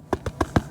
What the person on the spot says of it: you hear that clunk listen